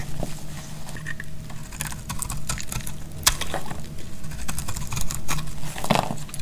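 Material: Soap.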